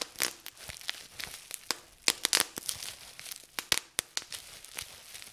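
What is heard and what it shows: Fingers squeeze and pop the air bubbles in a sheet of clear plastic bubble wrap, partly gathered and held up. An irregular series of sharp, bright pops rings over a steady high crinkling of the plastic, with almost no low end.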